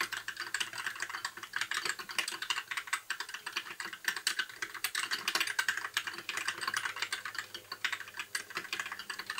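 Fingertips of both hands type continuously on a compact white mechanical keyboard with backlit plastic keycaps. A steady, rapid stream of bright, short plastic clicks and clacks runs throughout, with little low end and almost no ring after each keystroke.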